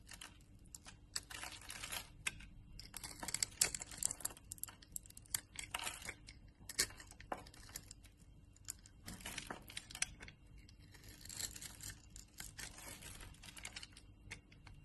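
A utility knife blade scrapes small cubes off a solid, translucent orange rectangular glycerin soap bar that has been scored in a grid and is held in the palm. The result is bursts of bright, crisp scraping and crumbly crackling, broken by brief quieter pauses, with a faint low hum underneath.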